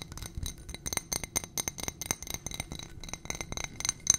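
Long nails rapidly tap and scratch a ribbed glass footed dish with a gold rim and stem, filled with white contents. The result is a fast, uneven stream of bright, high clinks and scrapes, each dying away almost instantly.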